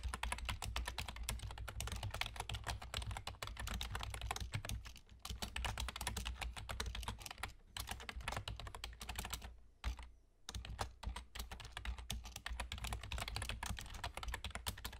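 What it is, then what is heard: Plastic computer keyboard, typed on. Rapid fingertip typing from both hands with short nails on a full-size black plastic keyboard with German key labels and hollow keys. A dense stream of crisp, bright clicks carries over a steady low hum, with brief pauses around 5, 7.5 and 10 seconds.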